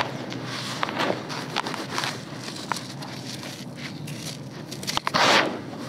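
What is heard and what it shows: Bare, dirty hands sweep and crush loose, dry red granular soil with small pebbles in a grey bucket, making steady gritty crunching and crackling with short sharp grains snapping throughout. Handfuls are then sifted so the fine dirt pours out, ending in a brighter, louder sandy hiss near the end.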